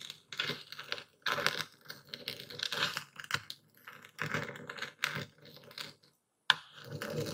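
A dark speckled stone pestle grinds and crushes coarse white epsom salt crystals in a full wooden bowl held steady by one hand. Gritty, bright crunching comes in short uneven bursts, broken by brief pauses and a near-silent gap before a final sharp crunch.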